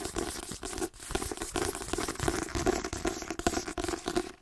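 Fingernails tap rapidly across a white paperback book with a glossy card cover, striking the cover, the spine and the page-edge block. The result is a dense run of short, dry clicks and scratchy, crinkly taps with a hollow mid-low body and almost no ring after each hit.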